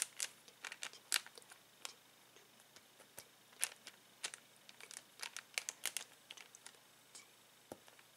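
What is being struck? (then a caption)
Thin plastic bag holding rubber balloons. Fingertips and nails scratch and crinkle a clear plastic bag full of uninflated latex balloons lying on a table. Around thirty short, sharp, bright crackles and scratches come in quick, uneven bursts over a quiet background, each dying away almost instantly. The sound is thin and high, with almost no low end.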